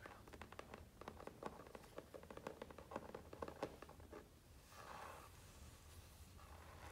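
Quick soft fingertip taps patter on a hardcover book's board cover, then a dry scratching rub.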